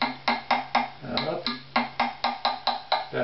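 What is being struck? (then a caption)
Wooden violin top. A strung wooden violin with a hollow body lies face-up on a mat while its top near the chinrest is tapped with a thin stick, giving 12 short, hollow, woody knocks at a fairly steady pace. Each tap has a bright attack and a mid-pitched resonant tone around 800 Hz that dies away quickly. A faint steady low hum runs underneath.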